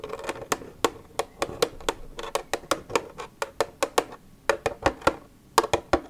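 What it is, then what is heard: Empty plastic milk jug. Long red acrylic nails tap the side of an empty, hollow, translucent white HDPE plastic milk jug with a green cap, lying on a wooden table. About 26 quick, sharp, hollow clicks come in an uneven rhythm, each with a midrange body and a bright edge. Each tap dies away almost at once.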